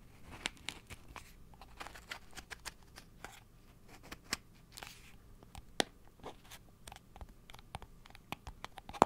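A blue cardboard salt tube, held in front of the mic, is tapped and scratched with fingernails. An irregular series of short, dry, crisp taps and scratchy rasps sounds over a quiet background, each one dying out almost instantly.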